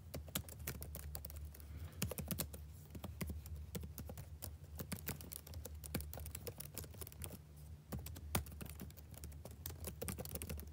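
Fingertips type fast across the keys of a black plastic backlit laptop keyboard, producing a continuous stream of quick, sharp clicks and taps that fade almost instantly. A steady low hum sits beneath the typing throughout.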